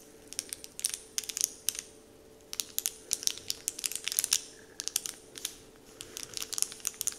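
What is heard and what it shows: Fingertips press and crinkle a large, flat, heart-shaped Dove-printed paper candy wrapper sheet resting on a wooden table. Short bursts of bright, crisp crackling come in quick clusters with brief pauses between them, over a faint steady low hum.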